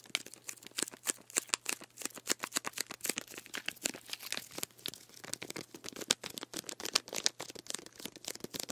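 Fingernails scratch and tap the body and plastic label of a full plastic sports drink bottle of green drink as it is moved beside the microphone. A rapid, uneven run of dry, bright clicks and scratchy crinkles sounds, each stopping instantly with almost no low end beneath a faint steady hum.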